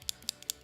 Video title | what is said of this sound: ShadowSense is one of my faves & some LipSense Tips! | You can hear there's the little ball in there to incorporate all of the color